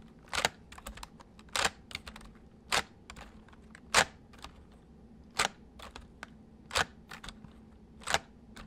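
Fingertips slowly press the keys of a white full-size plastic mechanical computer keyboard, giving sparse, irregular, bright clicks. Louder key strikes mix with softer taps, each dying away almost at once over a faint steady low hum.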